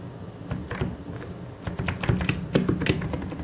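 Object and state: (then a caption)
Plastic mechanical keyboard. Fingertips type on a white and grey plastic mechanical keyboard, producing a quick, irregular run of short, dry key clacks with low thock and a brief bright click on each press. The strokes come unevenly in bursts, growing a little louder toward the end.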